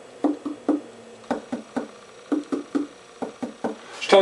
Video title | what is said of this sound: How to Trim Plates! | it's telling me this is still pretty thick